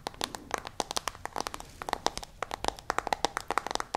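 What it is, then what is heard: Smartphone tapped with fingernails. Long nails tap rapidly on the lit screen of a smartphone in a white case, making 27 quick, dry clicks with almost no ring. The taps have a sharp, bright edge and a clicky tone around 800 Hz, with little low end.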